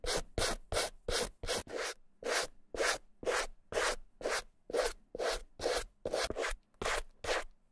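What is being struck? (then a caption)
Small suede handbag brushed with a stiff plastic-bristled brush. A white plastic suede brush with stiff bristles is scrubbed back and forth across the dry, hollow body of a small red suede Gucci bamboo-handle mini handbag, its handles taped. About nineteen separate rough, scratchy rubbing strokes come at roughly two per second, each a dry broadband swish with a body around 500 Hz and a bright hiss on top. Each stroke stops quickly with almost no ring.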